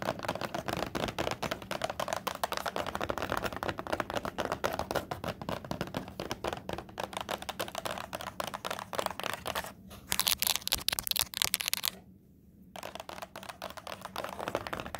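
Long nails rapidly tap and scratch the front face of a small rectangular cardboard tissue box with a grey leaf-print cover, hollow with tissues inside and held up in both hands. A dense stream of quick, dry, bright clicks and scrapes continues with a brief dip just before the ten-second mark and then swells into a louder, harsher burst of scratching. After a short near-silent pause, quieter tapping resumes to the end.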